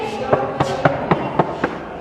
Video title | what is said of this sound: रजवाड़ों के शौक पहले की राजाओं के महल | साफ साफ आवाज आ रही है